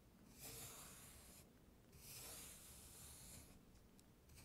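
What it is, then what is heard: Kinetic sand being scraped. A thin, flat wooden stick held in the fingertips is dragged through a flat, solid, tray-filled layer of blue kinetic sand with a dry-looking, crumbly, grooved surface, drawing lines into it. Long, bright, gritty scraping strokes rise and fade over a low, quiet rumble, and another stroke begins at the end.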